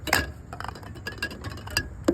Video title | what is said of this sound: St. Paul Volunteer Shift: Pre-K Fields | shake it up, wait till you hear the widget, then continue for about a minute